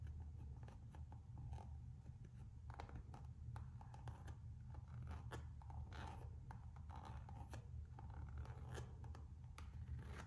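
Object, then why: Rubber slide sandal sole. Long acrylic nails scratch and tap the textured rubber outsole of a Gucci slide sandal held up in the air. Quick, dry scratches and light ticks come in uneven bursts over a steady low hum, and each sound stops almost at once with no ring.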